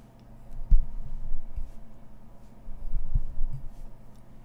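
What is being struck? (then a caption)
Small corrugated cardboard box. Long nails tap and scratch the top of a small, closed, hollow brown corrugated cardboard mailer box resting on fabric. The taps sound as soft, dull, low thumps that die away quickly, with faint scratching between them, over a quiet, steady low hum.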